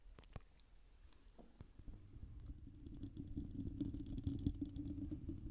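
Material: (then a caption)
Metal mesh. Long purple nails scratch and rub a hollow, silver, dome-shaped metal wire-mesh microphone grille with both hands, held close. A few sharp clicks open a quiet stretch, then a dense, low, rumbling scrape builds steadily louder with a faint bright crackle on top.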